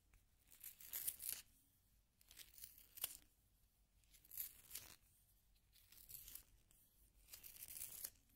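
A solid yellow wooden pencil is turned by fingertips in a small pink plastic sharpener, its blade shaving the wood. Soft, dry, bright rasping bursts come in uneven waves with quiet gaps between them, almost all of the sound high and crisp with little low end.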